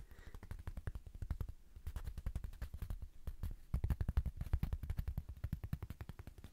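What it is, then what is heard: Woven fabric mini rug coaster. Fingertips rapidly tap a small, thin, square woven fabric mini rug coaster with a red patterned face, held up in one hand. The result is a fast, uneven stream of short, dull, low thumps that die away almost instantly, with no ringing.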